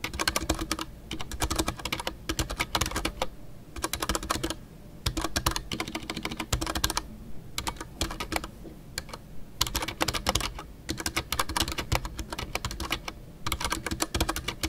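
Fingertips type continuously on a full-size Ducky One 2 mechanical keyboard with a white case, MX Brown switches and custom artisanal PBT plastic keycaps. Quick runs of crisp, bright clacks sit over a deep thocky body, broken by short pauses between bursts. Each keystroke is sharp and dies away almost instantly.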